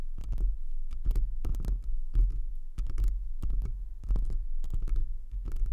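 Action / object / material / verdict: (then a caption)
tap / foam microphone windscreen / foam / none. Both hands scratch and tap a soft black foam windscreen that wraps the head of a pink rhinestone desk microphone, using long acrylic nails and fingertips close to the capsule. The result is a steady run of deep, muffled thumps and rubbing scratches, heavy in low rumble with quick bright flicks from the nails.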